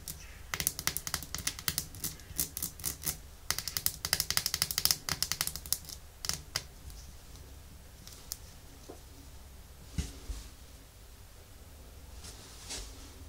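Long nails tap and scratch a small, full red glass nail polish bottle with a white plastic cap and label. Quick, bright clicking taps come in dense bursts for the first six seconds, then thin out into scattered taps and soft scratching, with one firmer knock near the ten-second mark. Each tap is short and dry, with almost no ring.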